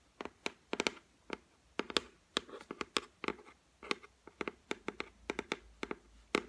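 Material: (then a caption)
Laminate. Long white nails tap and scratch across the flat, solid top of a white laminated shelf. About two dozen sharp, dry clicks land in an irregular rhythm, with soft scratching strokes between them. Each tap is bright and stops almost at once, with no ringing.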